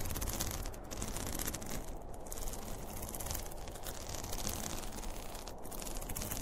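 Fingertips and nails scratch and rub the top of a closed, hollow zippered school pencil case made of polyester fabric with a printed cartoon panel. A steady, dense scratching texture over a low, hollow rumble, with bright rasping hiss that swells and dips slightly as the strokes change.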